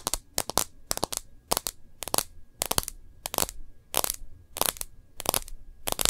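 Long nails tap and scratch along the edge of a smartphone's plastic case and across its screen. The sharp, dry, bright clicks come in quick pairs and clusters with no ring, separated by faint scratchy rustling.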